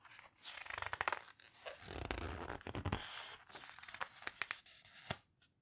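Fingertips rub, squeeze and turn the paper pages of an open photo book. Soft, airy rustling swells in waves, with a duller, fuller crumple near the middle. Crisp paper crackles and sharp page snaps break through before it fades to quiet.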